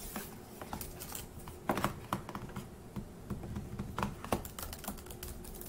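Fingertips tap the plastic keys of a dark grey laptop keyboard set in a hollow laptop body, as in typing. Quick, dry clicks arrive in an uneven patter, with a few louder clacks standing out. Each click dies away almost at once over a faint, steady low hum.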